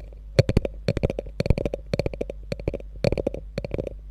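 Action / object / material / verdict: tap / quilted faux leather handbag / faux leather / none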